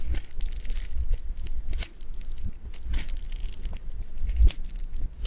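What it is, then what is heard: Foam bead clay (floam). Fingers squeeze and fold a lump of blue foam bead clay (floam) made of polystyrene beads. The result is a steady run of dense, crinkly crunching and crackling, with bright bursts of crackle over a low, muffled thump from the handling.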